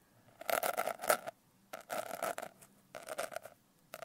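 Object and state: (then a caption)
Glitter-covered notebook. Long nails scratch across the rough surface of a medium notebook with a coarse blue glitter cover, held upright. Three quiet bursts of gritty, crackling scraping are heard, each with a tonal rasp around 600 Hz and bright, hissy grain above. A fourth pass just begins at the end.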